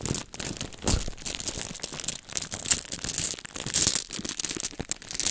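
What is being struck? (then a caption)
Plastic bag holding glass beads. A small clear plastic bag filled with colorful glass aquarium beads is held in the hands, squeezed, crinkled and shaken close up. Bright plastic crinkling runs throughout, with quick rattling clicks as the beads shift and knock together inside the bag.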